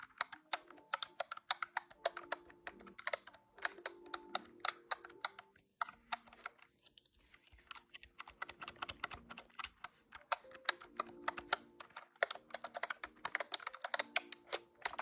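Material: Plastic.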